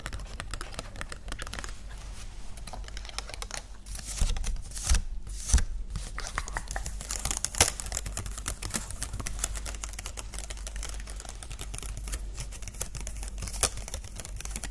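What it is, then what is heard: Plastic butterfly ornament. A small green plastic butterfly ornament with thin wings is held in both hands and tapped quickly with long nails on the wings. It makes fast, irregular, dry clicks over a steady low hum, with a few sharper, louder taps standing out.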